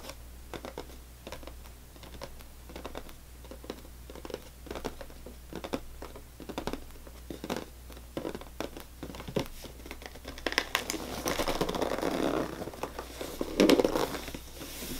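Fingernails of both hands tap and scratch on top of a full cardboard saltine cracker box. Quick, irregular, sharp taps come first, then louder, rougher scratching with a crinkly rustle near the end. A steady low hum runs underneath throughout.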